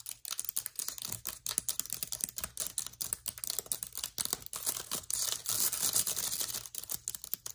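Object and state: Laptop keyboard with plastic keys.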